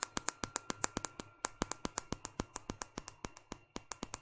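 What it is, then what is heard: Smartphone glass screen tapped with fingernails. A small, solid white smartphone with a glass screen and plastic frame is held upright in one hand while long painted fingernails of the other hand tap on the glass screen. About 31 short, sharp, bright clicks come in a quick, uneven rhythm, each dying away almost instantly, over a faint steady tone and low hum.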